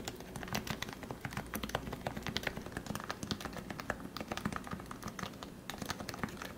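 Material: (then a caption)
Plastic. Fingertips type steadily on the white plastic keycaps of a lubed Leopold FC660C Topre keyboard with 45 g switches. Each keystroke gives a short, muted, rounded thock with a deep low body and a faint bright tick, and the clicks run close together in a quick, even stream with almost no ring.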